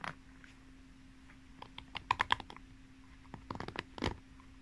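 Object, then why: Plastic pin-bristle hairbrush. Long nails run and scratch over the plastic pin bristles of a pink paddle hairbrush with a cushion pad, the brush held upright and then horizontal. The result is irregular bursts of sharp, bright, dry clicks, like fast typing, over a faint steady low hum, with the loudest flurries near the middle and the end.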